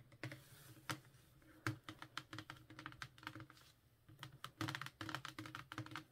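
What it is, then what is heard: Cardboard book box set tapped with fingernails. Long painted nails tap and scratch a Lord of the Rings box set, a cardboard slipcase full of paperback books, held in the hand over a cloth mat. Quick, dry, clicky taps come in uneven bursts, each with a soft hollow thump underneath and almost no ring, between quieter stretches of faint scratching.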